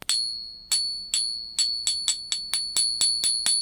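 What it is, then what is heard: Silver round ringing clearly. A solid 1 oz silver Liberty round, about 39 mm, held upright on the pin of a black plastic ping tester, is struck twelve times at an uneven pace. Each strike gives a bright, bell-like ping with a high, steady tone that rings on and fades until the next hit.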